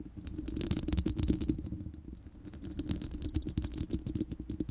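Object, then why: Steel mesh microphone grille. Long nails scratch across the bare, hollow, round steel mesh grille of a studio microphone. The result is a dense run of quick, crackly scrapes and ticks over a boomy low rumble with a hollow, ringing tone. The scratching swells and fades slightly, with bright flecks on top.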